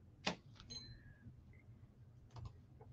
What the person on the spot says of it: the crystal will ring it'll have a ring to it